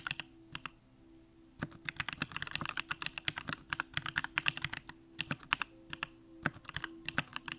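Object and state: Mechanical keyboard being typed on.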